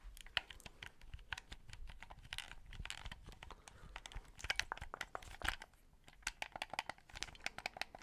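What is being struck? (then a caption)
Plastic game controller buttons and sticks. A white, hollow plastic Xbox 360 controller is held close to the mic while fingertips tap and click its face buttons and sticks. Dozens of quick, bright plastic clicks and taps follow one another with a soft rustling underneath, each click dying away almost instantly.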